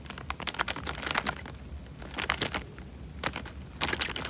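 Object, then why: Tied plastic bag of water. A tied, clear plastic bag full of water is squeezed in the hand, making the water slosh and the film crinkle. Bursts of bright, crisp crackling come in clusters with quieter gaps between them, and there is little low-end weight.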